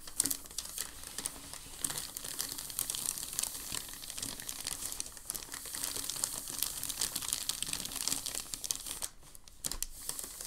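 A large, thin sheet of crumpled packing paper lies on a dark table while a palm and fingers rub and flatten it. The result is a steady stream of dense, bright crinkling and crackling with very little low end, easing briefly just after the nine-second mark before resuming.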